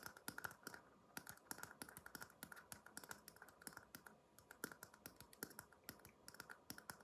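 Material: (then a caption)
Paper. A small, empty red paper cup held upside down is tapped quickly and unevenly with fingertips, producing a stream of light, dry clicks. The short taps have a hollow tone around 1.4 kHz with bright edges and almost no ring, over a faint steady background hiss.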